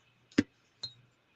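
A gunmetal-colored terahertz stone bead bracelet, size eight, first thought to be magnetite, is clinked three times. Each hit gives a short, bright, glass-like click with a quick decay, the first loudest. The glassy sound identifies the beads as terahertz.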